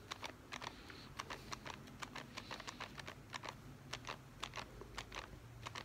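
A small, hollow, printed cardboard Instax film box is held in one hand and tapped rapidly with the fingertips and nails of the other. About two dozen short, dry, bright clicks sound in an irregular rhythm over a quiet low background, each dying away almost at once.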